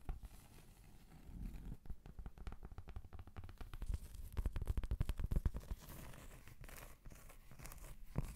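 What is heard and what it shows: A large, thin, solid round cork trivet is held in the hands and scratched with long acrylic nails. Quick, irregular scratching strokes and soft crinkly rasps follow one another, with a low, muffled body under the close, dry sound.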